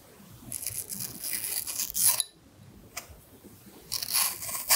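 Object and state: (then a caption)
Red apple being carved. A carving knife scrapes the skin of a solid red apple between carved heart shapes, giving bright, crisp scraping and tearing sounds. Two dense bursts of scraping, the first swelling to a sharp peak, are split by a quiet pause with a single brief tick, and a final sharp scrape ends the clip.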